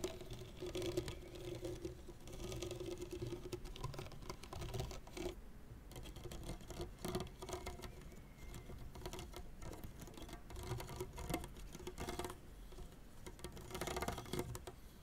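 Fingertips and nails scratch the synthetic strings of a tennis racket head lying flat, while the other hand works near the lower part of the frame. The result is a dense, irregular scratchy patter with quick, dry ticks and no ring, weighted toward the low end with a faint steady hum near 350 Hz.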